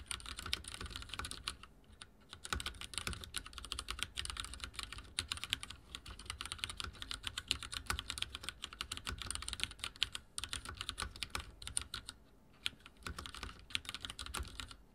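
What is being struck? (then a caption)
Mechanical keyboard with plastic keycaps. Fingertips of both hands type fast on a backlit mechanical keyboard with dark plastic keycaps resting on a wooden desk. The result is a dense stream of sharp, bright clicks and clacks with very short decay, broken by brief pauses near 2, 10 and 12.5 seconds.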